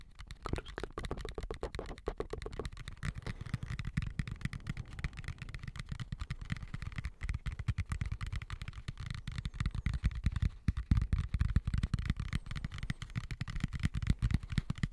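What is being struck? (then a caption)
Plastic colander. Fingertips tap and scratch a medium white plastic colander with slots, hollow and empty, turned upside down over the microphone. A dense, uneven run of quick, muffled taps sounds as deep, soft thuds, with faint scratchy rustling over them. The short, dry patter grows a little louder and busier toward the end.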